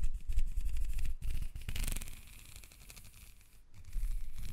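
Long red nails scratch and rub along the ridges of a black, ribbed, hollow plastic corrugated hose. The result is a rapid, uneven run of dry ticking scrapes over a low rumble, brightening briefly near the middle, dropping to a softer rustle, then growing louder again at the end.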